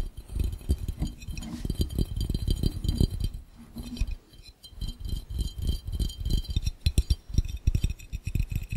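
Fingertips tap quickly on the base of a clear, empty glass fishbowl set over the camera. The result is a fast, dense run of short, dull, low thumps with faint bright clinks on top. The tapping eases briefly just past the midpoint, then picks up again.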